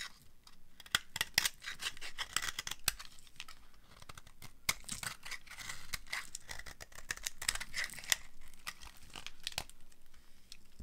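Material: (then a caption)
Soap. A utility cutter blade scrapes thin shavings off a small, dry, light green bar of soap held in the hand. The result is a steady run of bright, crisp, crackling scrapes with quick sharp snaps that stop almost instantly, over a faint low hum.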